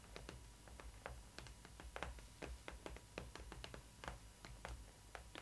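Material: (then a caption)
Cardboard. Long red acrylic nails tap and scratch the front panel of a large, hollow printed cardboard box with a clear plastic window, holding a boxed Disney ily 4ever Stitch adult collector doll. Quick, dry, sharp clicks and short scrapes come in an irregular stream over a steady low hum.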